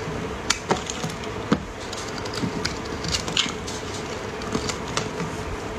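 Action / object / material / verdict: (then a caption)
scrape / bar of soap shaved with a metal blade / soap / none. A solid round orange soap bar, held in pink finger cots, is shaved into strips with a metal utility blade. A steady bright scraping hiss runs throughout, broken by short, crisp clicks and snaps as the blade catches and cuts through the soap.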